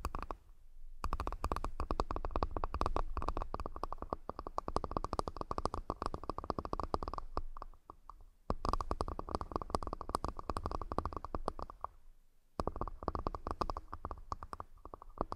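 A wooden accessory box is tapped rapidly and continuously in three long bursts separated by brief pauses. The dense clicks are dry and short with almost no ring, carrying a low thump and a bright, woody tone around 1 kHz.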